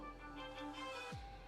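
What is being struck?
Nothing is struck.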